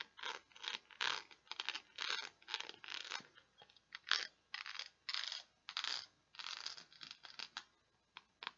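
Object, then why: Plastic peg board. Long nails scratch across the grid of small pegs on a small, flat, solid purple plastic peg board. The result is a quiet series of short, bright, dry scratching bursts with no low end, each stroke dying away almost at once before the next begins.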